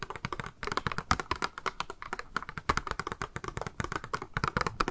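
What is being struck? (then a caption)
Small clear plastic cube box. Long manicured nails tap and scratch a small, hollow, clear pink plastic cube box, held in the hands, with a pink makeup sponge inside. Dozens of quick, dry, clicky taps come in rapid bursts, each with a hollow mid-pitched knock around 1.3 kHz and almost no ring. Soft scratching fills the gaps between them.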